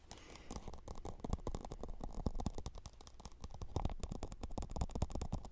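A plastic Solo cup is tapped softly in a rapid, steady series of taps. The taps are dull, low-pitched thuds that stop almost instantly, with no talking.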